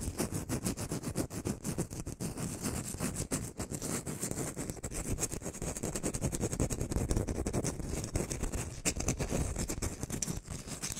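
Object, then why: Whole orange, peel tapped and scratched with fingernails. Long painted nails rapidly tap and scratch the peel of a whole, solid round orange held in one hand. A dense, steady patter of soft, dull taps mixes with scratchy rubbing throughout, mostly low and muffled with a faint bright edge.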